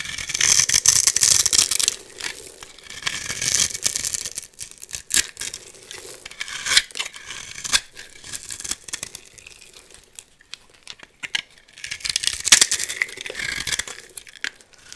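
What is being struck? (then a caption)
Bar of soap. A metal blade scrapes scored cubes and shavings off a hand-sized, solid turquoise bar of soap with gold-painted edges, held in the hand. Dense, irregular, bright crackling and scraping comes in loud bursts at the start, around four seconds and again near twelve seconds, with quieter crisp snaps and rasps in between.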